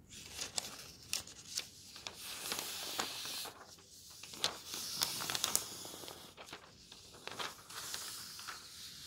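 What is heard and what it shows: Thin paper pages of an open road atlas are slid between fingers and flipped, one after another. Quiet, bright, dry rustling and swishing fills the clip, broken by short crisp crackles and flutters as each page turns over, with almost no low end.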